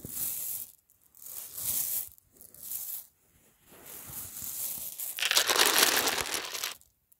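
Fingertips rub, push and scratch through a pile of many small, solid, translucent pink faceted acrylic plastic gems resting loose on a white fabric sheet. The gems click and slide against each other in five separate bursts of bright, crisp rattling with short pauses between. The final burst is the loudest and densest.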